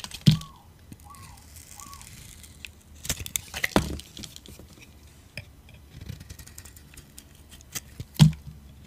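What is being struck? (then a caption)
Bar of soap. A metal utility blade scrapes chunky, crunchy slices off a solid yellow-orange dry soap bar held in the hand. Short, dry crunches and scraping sounds come in scattered bursts over a low, muffled background, with the sharpest cracks near the start, middle and end.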